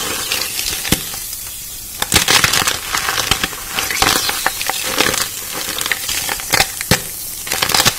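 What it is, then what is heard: Chalk block, dry and crumbly. A large, solid, dry white chalk block, possibly gym or magnesium chalk, is held over a blue bowl of chalk powder and squeezed, crushed and broken apart by bare hands with red-painted fingernails as the fingertips dig in and crumble it. Bright, dry crunching and crackling with sharp snaps sounds over a steady crumbling hiss, mostly in the high range with little low end.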